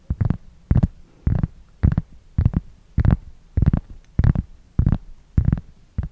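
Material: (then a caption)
Cork. Long fingernails scratch a large, solid, flat round cork board or coaster held close to the microphone, making short rough scraping bursts at a steady, slightly uneven pace. The strokes are deep and muffled, with most energy low, brief bright edges and quiet pauses between them.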